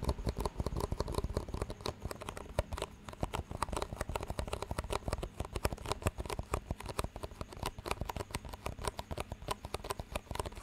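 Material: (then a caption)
Plastic. Fingertips tap the walls of two identical clear disposable plastic cups with green rims, hollow and empty and held one in each hand, and the cups are knocked together. A steady, rapid run of short, dull, hollow clicks and taps, mostly low in tone with little bright edge, each dying away almost at once.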